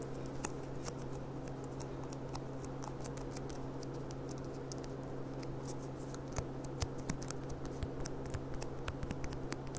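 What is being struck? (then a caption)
Thin glass goblet. Long dark fingernails rapidly tap and lightly scratch the thin bowl of a clear, empty, hollow gilt-rimmed glass goblet lying on its side. Quick, dry, bright ticks and clicks sound over a steady low hum, each dying away almost instantly.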